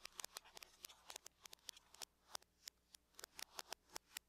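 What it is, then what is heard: Aluminum laptop lid. Long nails tap and scratch the lid of a closed silver aluminum laptop, making about two dozen quick, bright clicks with faint scraping between them. Each tap is sharp and dies away almost instantly, with almost no low end.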